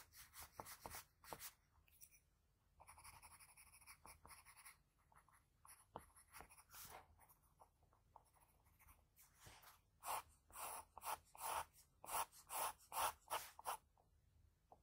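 A graphite pencil rubs and shades around the nostrils of a sketch on a flat sheet of white drawing paper. Soft, dry scratching strokes come in uneven bursts, quiet at first and growing louder and brighter toward the end, with a faint low hum underneath.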